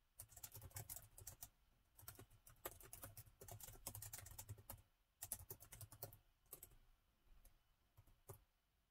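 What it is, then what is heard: Laptop keyboard with plastic keys. Both hands tap with their fingertips on the black plastic chiclet keys of a gold metal-look laptop with a hollow body. Quick bursts of crisp, bright clicks with a soft low thump come in runs separated by short pauses, and each click dies away almost at once.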